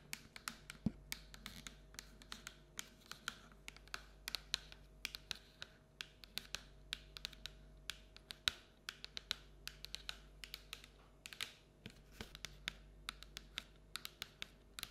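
Long acrylic nails tap and scratch the outer wall of a medium, hollow, cylindrical printed paper/cardboard pumpkin treat bucket held upright. A rapid, irregular stream of quick, dry, bright clicks and scratchy taps dies away instantly, over a faint steady low hum.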